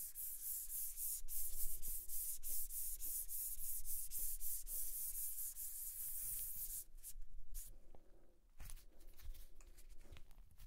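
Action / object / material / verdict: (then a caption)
scrape / rubber stress ball with bead filling in mesh netting / rubber / none. A small pink and white squishy stress ball, soft rubber filled with pink beads inside white mesh netting, is pressed and rubbed with the fingertips against a white table and then picked up in the hand. Quick, uneven rubbing strokes make a steady bright, scratchy hiss with a low rumble underneath. Near the end it thins into softer, sparser rustles with a single dull bump.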